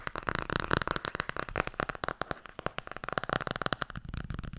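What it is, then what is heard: Hardcover book, nail tapping. Fingernails tap fast and scratch across the front and back covers of a blue Tarot hardcover book. A rapid, dense run of short, dry clicks with no ring, mixed with scratchy rustling and a faint tone around 1.3 kHz.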